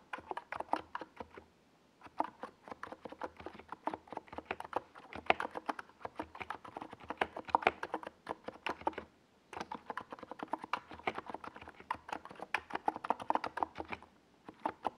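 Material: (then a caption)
Plastic. Fingertips type continuously on a small 68-key NiZ Plum Atom 68 mechanical keyboard with a white plastic case and purple and yellow plastic Domikey Gas Attack SA keycaps, resting on a desk pad. Rapid, dry plastic clacks centered around 700 Hz with quick decays run in steady bursts, with brief pauses near 2 seconds and 9 seconds.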